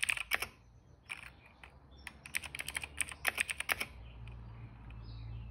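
Fingertips of both hands type steadily on a retro-style cream plastic mechanical keyboard with dark and purple plastic keycaps and a hollow case, resting on a rug. Bright, crisp clicks and clacks come in quick bursts with short pauses between them. The typing stops near the end, leaving a faint low background hum.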